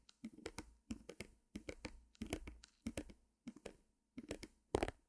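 A small white stretched canvas on a wooden frame, held beside the mic, is tapped and scratched with long nails. Quick, dry taps and scrapes come in short clustered bursts separated by brief silences, with a papery, slightly hollow tone and little ring.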